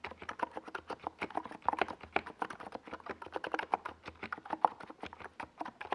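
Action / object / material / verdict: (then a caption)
tap / plastic mechanical keyboard with plastic keycaps / plastic / none. Both hands type steadily on a NiZ Plum Atom 68, a compact 68-key mechanical keyboard with a white plastic case and purple and yellow Domikey Gas Attack SA plastic keycaps, resting on a purple desk pad. A quick, continuous stream of short, crisp plastic clacks with a midrange tone, each keystroke dying away almost instantly.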